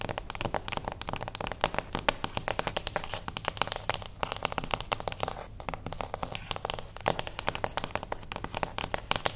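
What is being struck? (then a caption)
Small cardboard box. Long acrylic nails tap quickly on a small, closed beige cardboard gift box standing on its edge. The result is a steady stream of short, dry clicks with almost no ring, a hollow mid-range tone, and bright edges.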